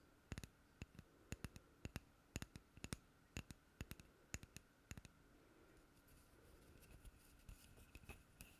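Long manicured fingernails tap a small, hollow, empty, unfinished light wooden cup or ring held in the other hand. Quick, dry, bright clicks come in uneven clusters over a faint steady hum, and each dies away almost instantly. After about five seconds the taps turn softer and scratchier before fading out.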